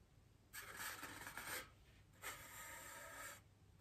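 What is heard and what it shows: A bristle paintbrush brushes across a large, solid white polystyrene foam wreath ring, and then both hands with long green nails rest on the foam and begin touching it. Two separate dry, airy scraping strokes are heard, each lasting about a second. They have a bright, hissy texture centered in the upper mids and are set against quiet background noise.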